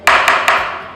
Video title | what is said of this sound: l'histoire du Liege Leroy Merlin vidéo grand public | si on fait un test, ça fait un bruit sourd